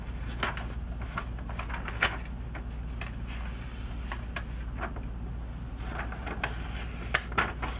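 Glossy paper pages of the last 2002 issue of Sports Illustrated, with vintage ads, are flipped and curled by hand, only fingers touching the thin sheets. Soft, quick crinkles and brighter page snaps come through over a steady low hum.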